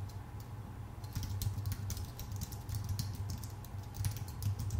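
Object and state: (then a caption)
Aluminum and plastic computer keyboard. Both hands type with their fingertips on a full-size white Apple Magic Keyboard, which has plastic keycaps on a thin aluminum body. A quick, uneven stream of soft, short key clicks with bright tops plays over a steady low hum, with slightly louder bursts of typing toward the middle and end.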